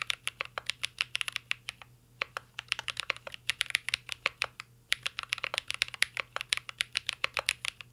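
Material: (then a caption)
Plastic. A mint-green Cyberboard R3 mechanical keyboard with plastic keycaps and a metal case is typed on continuously with fingertips. Its key taps are sharp, bright clicks in quick bursts, separated by two brief pauses. A faint low hum runs underneath.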